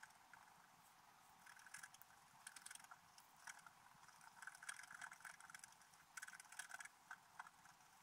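A wooden stylus scratches details into a flat, black-coated scratch art paper page. The clip is quiet, with short, dry, bright scraping bursts and fine ticking strokes that come in irregular clusters over a faint hiss. Almost no low end is heard.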